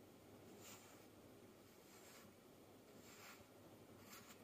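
A hand cuts and scrapes a thin wooden-handled stick tool down through a fist-sized, solid, layered mound of packed yellow kinetic sand sitting on a white table, and slices crumble off onto the pile. The result is a quiet, steady gritty rasp with a low rumbly bed and recurring brighter, hissy scrapes as each cut passes through and sand falls away.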